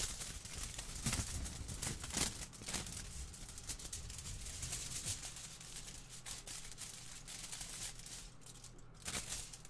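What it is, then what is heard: Aluminium foil sheet being shaken and crinkled. A large, thin sheet of aluminium kitchen foil is held in both hands in front of a microphone and waved, shaken and crinkled with the fingers. The result is bright, crackling rustles with sharper crinkle bursts near the start and again near the end, over a steady low hum.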